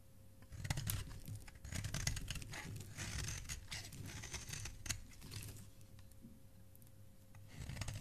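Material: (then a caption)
Soap. A flat metal blade scrapes and shaves the surface of a solid, palm-sized lavender bar of soap held in a hand with dark painted nails, throwing off flaky soap curls. Dry, crisp scraping strokes come in irregular bursts, with bright crackly texture over a low, soft body and a faint steady hum underneath.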